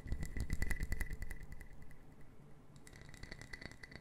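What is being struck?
Small wooden puzzle box.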